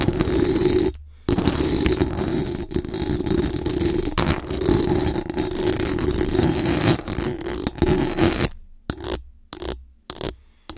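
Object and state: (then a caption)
Metal mesh microphone grille being scratched. Very long acrylic nails scratch quickly and hard across the hollow metal mesh dome grille of a large condenser microphone, making a dense, continuous raspy scraping with a strong low-mid body. The scratching breaks off briefly near the start, then runs steadily before thinning into short separated bursts at the end.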